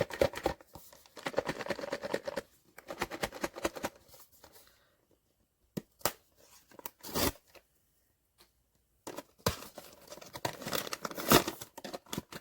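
A sealed cardboard POP MART Skullpanda "The Sound" blind box holding The Terror vinyl figure is shaken before opening. Bursts of dry rattling and knocking come in uneven clusters separated by short silences, with the figure thudding and sliding inside the box.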